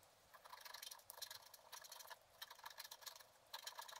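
A wooden stylus repeatedly scratches and scrapes the black layer off a flat black-coated scratch art paper card. Quiet, dry, bright scratching comes in short bursts of rapid strokes, with no low end and almost no ring after each stroke.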